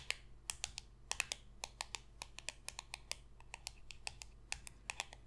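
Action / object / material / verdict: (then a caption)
tap / glossy cardboard trading card tapped with fingernails / cardboard / none. A single small, thin, glossy holographic cardboard football card is held in the hand and rapidly tapped and scratched across its surface with long pointed red nails. It makes a quick, uneven run of sharp, bright, dry clicks, each dying away almost instantly, over a faint low hum.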